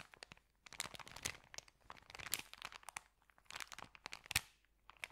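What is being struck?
Paper sandwich bag.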